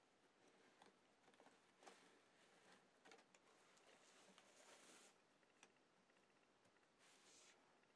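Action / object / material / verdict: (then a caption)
tap / cardboard jigsaw puzzle / cardboard / none. Fingertips of both hands press, rub and tap across an assembled flat cardboard Miraculous Ladybug jigsaw puzzle, roughly A4 size, lying on a white desk, settling the pieces. Very quiet, dry, papery scratching and rustling run throughout, broken by light, bright taps, with almost no low end.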